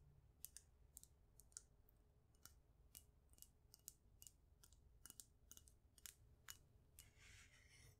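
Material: Glass.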